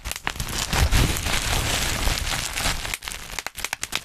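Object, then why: Plastic bubble wrap. Black plastic bubble wrap bunched over the microphone crinkles and rustles in a dense, steady crackle with a heavy low rumble as fingertips pinch at it. Near the end, the texture thins into sharper, separate bright pops as the bubbles burst.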